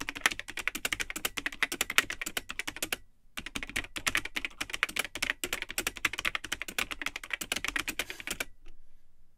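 Fingertips type continuously on the built-in keyboard of a vintage Tandy 1000 HX all-in-one computer, which has a cream plastic case and yellowed, hollow plastic keycaps. A rapid stream of sharp, bright, clacky keystrokes with very short decay briefly pauses around the three-second mark. The typing then resumes and stops just before the end, leaving near silence.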